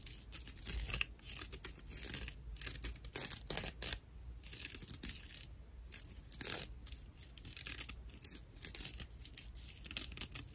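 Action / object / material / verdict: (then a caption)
scrape / dry natural loofah sponge / plant fibre / none. A dry natural loofah, a hollow piece of fibrous plant material, is held in one hand and scratched with the long nails of the other. The result is rough, bright, crackly scratching in rapid bursts and strokes, with brief pauses between runs.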